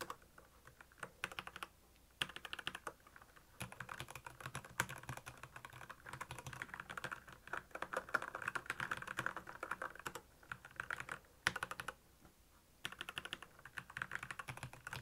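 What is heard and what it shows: Fingertips type continuously on a black plastic Royal Kludge mechanical keyboard, producing rapid, sharp clicky keystrokes with a bright, short snap and very little ring. The typing comes in quick bursts separated by brief pauses.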